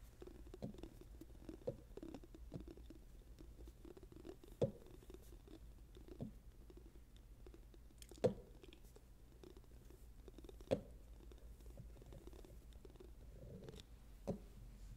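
A yellow and a white golf ball, small solid balls with dimpled hard plastic covers, are clinked and rubbed together by fingers close to the microphone. A quiet, steady patter of soft rubbing and tapping is broken by a few sharper, short clicks that die away quickly, over a low background hum.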